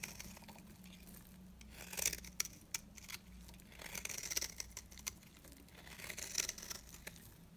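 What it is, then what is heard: Dry bar soap. A blade scrapes curls off the surface of a dry, beige, oval bar of retro soap held in the hand. The result is a quiet run of crisp, bright scraping and crackling, with sharper snaps here and there over a faint low hum.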